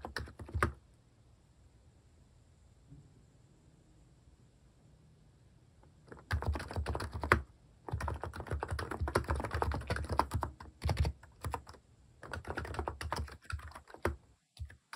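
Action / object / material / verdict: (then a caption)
tap / plastic keyboard with plastic keycaps / plastic / none. Fingertips type on a compact plastic mechanical keyboard with plastic cat keycaps, giving dense bursts of soft, low-heavy clacks. A short flurry of keystrokes comes first, then a long quiet pause, then sustained typing with brief gaps.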